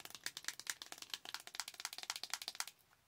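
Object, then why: Flat metal eyeshadow tin. Long acrylic nails tap rapidly on the embossed lid of a Too Faced Better Than Chocolate eyeshadow palette, a flat bronze metal tin. The result is a quick, steady stream of sharp, bright clicks with no low end and almost no ring, stopping abruptly near the end.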